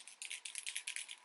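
A liquid glitter highlighter bottle with a small mixing ball inside is shaken to mix the glitter into the solution. About ten quick, bright rattles click out as the ball knocks around inside, with almost no low end.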